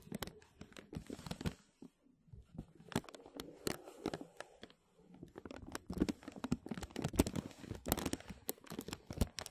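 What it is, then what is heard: Thin plastic bag crinkling. A thin, clear plastic film bag over a microphone is tapped and scratched by fingertips and short nails. It makes quick, dense crinkles and crackles with bright edges, pausing briefly near two seconds before growing busier and louder.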